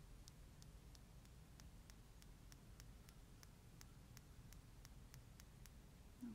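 A small glass nail polish bottle, full of neon yellow-green polish and topped with a silver cap, is held in one hand outdoors and tapped steadily with long green-painted nails. Each tap gives a faint, short, bright click that dies away quickly, over a constant low rumble like wind.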